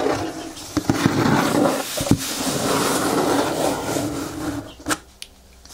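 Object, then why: Corrugated cardboard box. Fingertips and nails tap and scratch the top and front of a medium, closed, hollow brown corrugated cardboard box resting on a table. A steady papery scratching runs through most of the clip with a hollow low hum, broken by sharp dry taps. It fades to a few light taps near quiet at the end.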